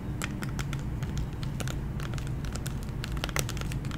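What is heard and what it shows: Long nails tap and lightly scratch a candy blister pack, a hollow clear plastic shell with a gummy inside, on a cardboard backing. Quick, bright plastic clicks and scratchy crinkles sound over a steady low hum.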